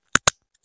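A dry sphagnum moss pole is squeezed in a crunch test to check whether it needs watering, giving two short, sharp, bright crunches and the start of a third at the end. The crunchy sound means the moss is dry; the top of the pole dries out first and sounds crunchier.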